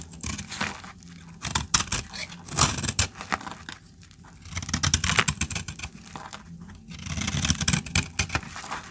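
A utility-knife blade cuts crumbly chunks off a solid, dried orange soap bar held in the hand. Crisp, dry scraping and crackling comes in uneven bursts, bright and gritty, with a faint low rumble beneath. Quieter pauses fall between the cutting strokes.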